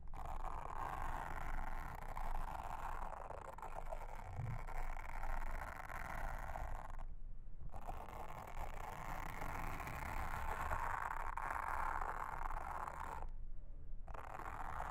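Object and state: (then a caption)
Silicone honeycomb trivet mat. A pink mascara spoolie brush, held in a hand with long red nails, brushes and scratches across a flat, solid, round blue silicone trivet with a honeycomb texture lying on a table. The result is a steady, dense scratchy rasp centered in the midrange, over a low background rumble. It stops briefly twice, around 7 and 13 seconds, before resuming.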